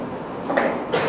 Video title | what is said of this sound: TUNTUNAN SHOLAT YANG BENAR - USTADZ ADI HIDAYAT LC MA | Kalau saya simpan satu spidol di sini, saya goyang bunyi nggak? Iya.